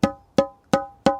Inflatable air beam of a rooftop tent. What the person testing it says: 쇠 파이프 두드리는 그런 소리가 나고